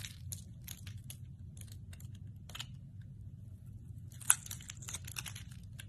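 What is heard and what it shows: A metal blade shaves thin shavings from the face of a hand-held, solid translucent amber glycerin bar soap. Short, crisp, crackly scraping strokes come in bursts over a low, steady rumble, with a pause in the middle and a denser run of strokes toward the end. The sharpest, loudest snap lands a little after four seconds.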